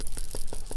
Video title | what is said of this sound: Turtley Awesome Card - Fun Stampers Journey | there's a little metal ball in there I don't know if you can hear it